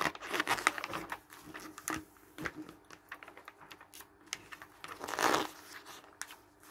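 Fingertips flip the thin pages of an open glossy paper travel magazine lying on a wooden table and rub them flat. Dense crinkling rustles and sharp, bright page snaps come and go, with louder swishing turns near the start and again around five seconds in.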